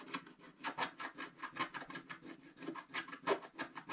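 A wooden stylus scrapes the coating of a flat, wax-coated scratch-art paper sheet in its center and lower areas, with a paintbrush lying unused nearby. Dense, rapid scratching strokes give a quiet, dry, raspy rubbing sound with bright, airy edges and a faint low-mid tone underneath.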